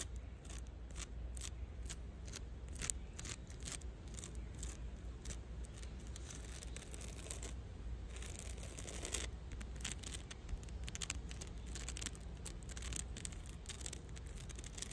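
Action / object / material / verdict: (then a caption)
scrape / tree root bark / bark / none. Long dark-red fingernails on one hand scratch the rough grey bark of a thick, solid tree root or trunk base on the forest floor. The result is a rapid series of short, dry, bright scratching bursts over a steady low rumble, with a denser stretch of scraping about halfway through.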